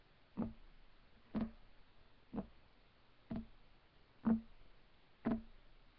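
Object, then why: Wooden table top. Fingertips of both hands rapidly tap on a solid, flat, light wood desk top. Six short, dull knocks land about once per second, each with a low woody tone near 220 Hz that dies away almost at once against a quiet background.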